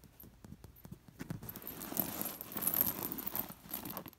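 Fingertips and long nails rake across an embroidered fabric cushion covered in sewn-on, dangling metal disc sequins. Soft, separate clicks give way to a continuous scratchy rustle as the discs clink and jingle together with a bright metallic shimmer before it tapers off.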